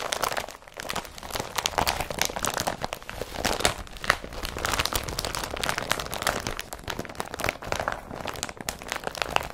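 An empty blue woven polypropylene IKEA BRATTBY carrier bag is crinkled and scrunched by fingers. The result is a continuous, dense run of dry, bright crackling and crunching with quick short transients and little low end.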